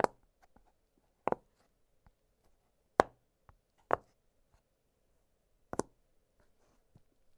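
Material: Silicone.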